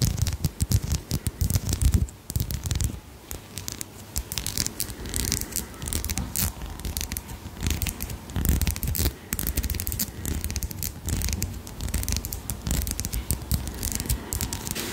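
A thin gold-tone metal link chain necklace with small solid links is held between the fingers close to the microphone, scratched and rubbed with long manicured nails. Its links rattle in a dense, continuous run of quick scratchy, crackling clicks over a low rumble.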